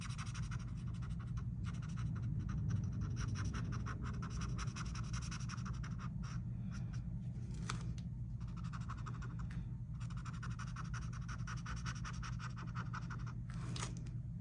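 A green felt-tip marker is rubbed back and forth across a flat paper coloring book page printed with a mandala design, while the other hand holds the page flat. It makes quick, steady bursts of scratchy coloring strokes with brief pauses between them, over a constant low hum.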